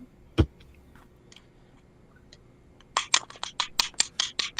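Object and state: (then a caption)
Aluminium herb grinder. An aluminium metal herb grinder is deliberately tapped and scraped: one sharp knock is followed by quiet, then a quick run of bright, rasping metal scrapes. About ten distinct hits, each short and high-pitched with little ring, confirming it is the same grinder.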